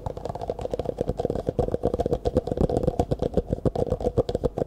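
Fingertips rapidly tap and scratch an empty, hollow clear plastic cup held sideways close to the microphone. The result is a fast, uneven stream of short, dry hollow knocks with a midrange tone near 490 Hz and a quick decay, mixed with light scratching.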